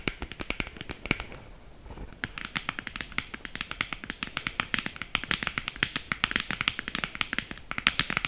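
Long green acrylic nails tap quickly on a small, hollow black cardboard lipstick box held up close. The sharp, bright, clicky taps come in rapid bursts, pause briefly near the two-second mark, then carry on just as fast, each hit dying out almost instantly.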